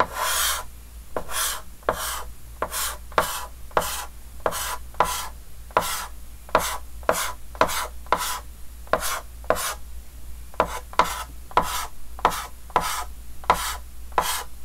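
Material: Chalk.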